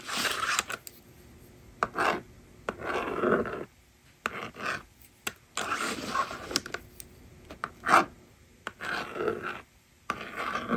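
A yellow plastic stylus writes numbers on the honeycomb screen of a small hollow plastic magnetic drawing board resting on a table. Bursts of dry scratching and scraping come in short strokes separated by quiet gaps, with occasional sharp taps of the stylus against the plastic.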